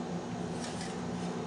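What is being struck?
Nothing is struck.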